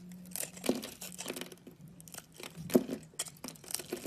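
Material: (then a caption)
Soap. A solid teal oval bar of soap held in the palm is cut and scraped with a utility knife, and chunks break off. The knife makes crisp, dry scraping and crunching sounds in short bursts, with louder cracks where pieces snap away. A faint low hum sits underneath.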